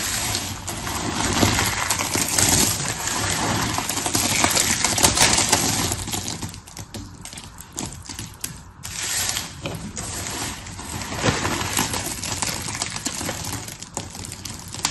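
Fingertips with painted nails dig into, rub and crush a pile of dry, brittle blue and pink soap curls and shards on a patterned paper surface. Dense, bright crunching and crackling runs throughout, easing into a quieter, sparser rustle for a few seconds midway before building again.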